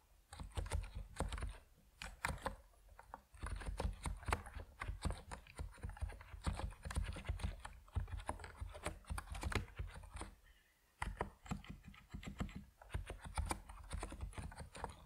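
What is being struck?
Mechanical keyboard with PBT plastic keycaps.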